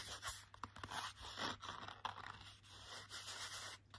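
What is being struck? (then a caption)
Laminated cardboard book cover. Fingertips and short nails rub and scratch the glossy laminated cardboard cover of a hardcover children's picture book. The result is a quiet, dry, bright scraping and scratching with short, crisp ticks scattered throughout and little low end.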